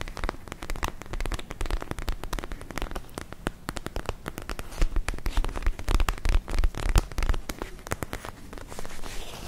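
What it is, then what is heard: Plastic gel ice pack. Long nails scratch a palm-sized, soft, clear purple plastic gel ice pack filled with gel and glitter beads, held close to the microphones. A dense stream of quick, crackly scratches and taps runs irregularly throughout, with a deep low thump under each stroke and bursts of louder clicks in the middle.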